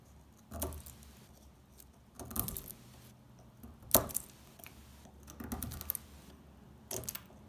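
A dry, rectangular bar of brown household laundry soap, held in hands with pink-painted nails, is scraped and scratched with a small metal blade, shaving off crumbly flakes. Five short, crisp, bright scraping bursts stand out over a quiet background, each a dry crackle with almost no ring.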